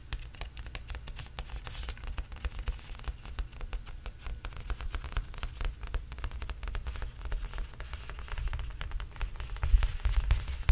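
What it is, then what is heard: Painted stretched canvas. Fingertips tap rapidly on the painted surface of a large stretched canvas held upright on its frame. The result is a dense, continuous patter of soft, low, drum-like thuds with a faint bright crackle on top, growing slightly louder toward the end.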